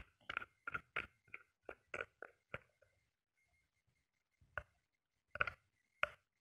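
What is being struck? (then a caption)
Small glass nail polish bottle. A small glass nail polish bottle full of glitter polish, with a metallic cap, is held in the hand and tapped with short painted nails. Eleven light, crisp clicks with a faint glassy ring near 1.5 kHz come in a quick run, then a pause and a few sparser taps.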